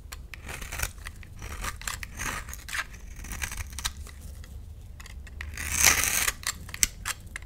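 A hand-sized, solid pale mint green bar of soap, held in the palm, is scraped into small cubes with a metal utility knife blade. Crisp, bright scraping and cutting clicks come in an irregular run of short strokes. A longer, louder scrape rises near the end before a few final sharp snaps.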